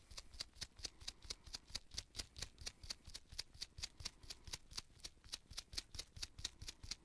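Purple nitrile-gloved fingertips pinch and rub the pale bristle tip of a small artist's paint brush with a gold ferrule and red wooden handle. About 30 short, crisp, bright scratchy bursts come in a steady but slightly uneven rhythm, with a faint low rumble underneath. Each burst stops almost at once, with no ring.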